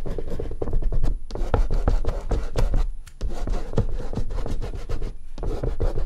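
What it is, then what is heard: Oil pastel rubbed on paper. Fingertips rub and smudge a thick layer of oil pastel across a large white artist's paper sheet lying flat on a dark board. The result is a dense, continuous run of short, dry scratchy rubbing strokes with a heavy low-end body, dipping briefly near the three-second mark before resuming at a steady level.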